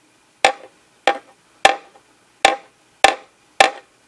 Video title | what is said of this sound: How to Modify Klipsch speaker horns for better sound. | when i put it down so the edge is in contact with the table ... it's a lot less resonant